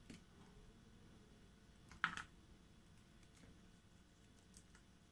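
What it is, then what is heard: Bar soap being cut. A hand-sized solid bar of soap, blue on the outside with a white core, is held in hand and cut and scraped with a small metal blade, peeling off slices. Faint, quiet crisp scrapes and clicks sound throughout, with one sharper, brighter crunching slice standing out near the middle.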